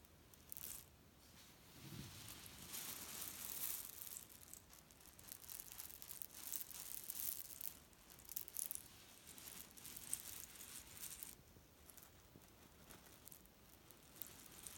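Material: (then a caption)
Cherry stones. Fingertips pinch, rub and scratch the fabric of a grey leaf-print cotton pillow filled with cherry stones, so the pits grind against each other inside. The result is a soft, dense, bright crackling and rattling with irregular swells and short pauses, and little low-end weight.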